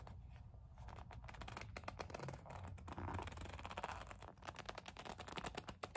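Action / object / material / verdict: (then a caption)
scrape / leather kiss-lock coin purse / leather / none. Long nails grip, rub and scratch a hollow black leather kiss-lock coin purse, making squeaky leather sounds. Quick, dense scratching ticks run throughout over a low rubbing rumble, with a smoother squeaky rub in the middle and brisk scratching bursts toward the end.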